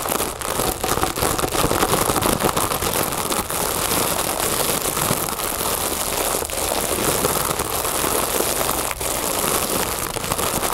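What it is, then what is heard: Mylar foil balloon tapped and scratched. A large inflated, hollow mylar foil balloon resting on a wooden table is tapped and scratched along its puffy edge with long nails and fingertips. Steady, fast crinkly tapping and scratching runs throughout with a bright, crackling texture and brief dips between bursts.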